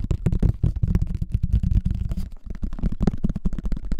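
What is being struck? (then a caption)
Plastic flying disc. Fingertips and nails quickly tap and scratch the top of a hollow pink plastic frisbee with a cartoon face, held over the mic. The result is a rapid, uneven run of dull, boomy thumps with a low hollow tone, mixed with soft scratchy rustles. Each tap dies almost instantly.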